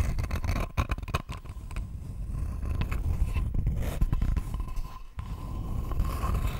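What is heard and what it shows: Long fingernails scratch the surface of a thin, flat, rectangular wooden board held close to the microphone. The result is a dense, irregular scraping and rustling with a heavy low rumble, broken by brief sharper strokes and short pauses. A faint steady tone hums underneath throughout.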